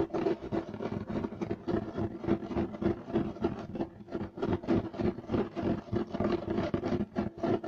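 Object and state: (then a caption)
Woven loop-pile carpet being scratched. Clawed fingers with short nails scratch fast across a flat, solid, beige striped woven loop-pile carpet. The result is a steady run of quick, somewhat irregular dry rasping strokes, each brief, with a hollow mid-low body and a bright scratchy hiss.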